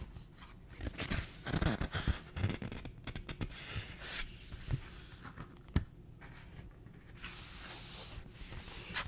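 Fingertips and nails scratch and rub the paper pages of a small yellow paperback book held open close to the mic. The result is a run of quiet, dry, crackly friction bursts with soft low thumps, and a sharper tick a little before the six-second mark. It eases into a steady, brighter rubbing hiss toward the end.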